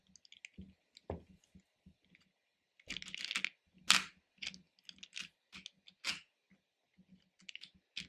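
Fingers with painted nails rummage and scratch through hard-shelled candy pieces, small and chewy-looking, in a small pink plastic bowl about half full. About 16 quiet, bright clicks and rattles are heard, with denser scratchy flurries of shifting candy around the third and fourth seconds. Each sound dies away almost at once, with no ring.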